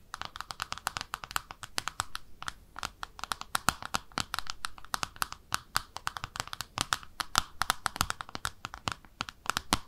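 Long nails rapidly tap and scratch the underside of a small pink speckled ceramic bathtub-shaped soap dish with holes. A dense stream of short, crisp clicks rings around 1.3 kHz with bright edges, dying out almost instantly between scratchy, crinkly textures.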